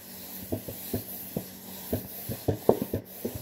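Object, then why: Cardboard cracker box. A hand scratches and rubs the printed surface of a hollow cardboard saltine cracker box. Quiet, dry scratching strokes come in short, irregular bursts with a soft, muffled low-mid tone over faint background hiss. Each scrape fades almost immediately.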